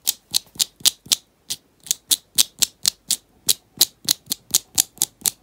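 Lilac-painted fingernails tap and scratch quickly around the side and lid of a small round teal plastic cosmetic tub with a paper label and a rubber band wrapped around it, held in the hands. About 21 short, bright, dry clicks sound at roughly four per second in a slightly uneven rhythm, each ending almost instantly with no low end.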